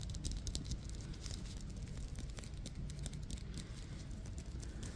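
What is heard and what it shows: A solid, hand-sized yellow Wilson softball of synthetic leather with black stitching is held in both hands and tapped and scratched with long fingernails. Quiet, steady, crinkly patter of soft taps and scratchy rasps rides over a low, dull rumble, with brief bright clicks scattered throughout.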